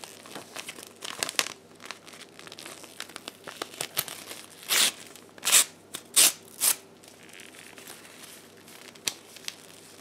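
A sheet of blue paper is folded, crumpled and torn by hands in black lace gloves. Soft, bright crinkling and rustling fill the clip, with several louder, hissy tearing bursts in the middle before it settles back into quiet crinkles.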